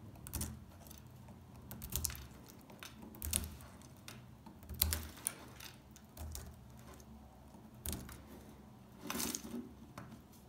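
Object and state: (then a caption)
Dry soap bar. A metal pick scrapes and chips at the surface of a solid, dry beige soap bar. Quiet, irregular bursts of crackly scraping alternate with sharp, bright chipping clicks that die away almost instantly. A soft low rumble sits underneath throughout.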